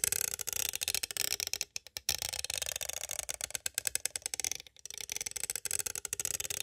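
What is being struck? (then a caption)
Plastic cassette tape case. A green striped pointed tool traces over and taps the cover of a palm-sized, hollow, clear hard plastic cassette case with a printed paper insert. Rapid, dry, bright clicks and scratchy tapping run almost continuously, with brief pauses near 1.8 and 4.7 seconds. Each tap ends instantly, with no ring and almost no low end.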